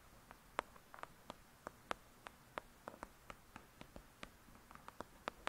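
Long pointed nails tap and scratch on the glossy paper front cover of a thick paperback novel, Lady Midnight, with a solid block of pages. About 20 quiet, sharp clicking taps come at an irregular pace, each dying away almost instantly. Faint scratching fills the gaps between them.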